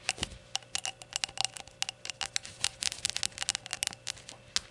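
Long nails tap and scratch rapidly on the glazed surface of a small, hollow, empty rainbow ceramic shot glass as it is held and set down. The result is a quick, uneven run of sharp, bright clicks with very short ring and light scratchy sounds between them, over a faint steady hum.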